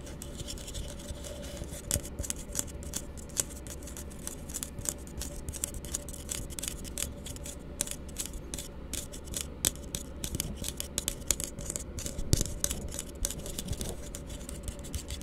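A small, hollow, empty blue plastic tumbler is gripped in one hand while the fingernails of the other hand scratch and tap it. Quick, dry clicks and scratchy rasps with bright highs repeat throughout over a steady low hum.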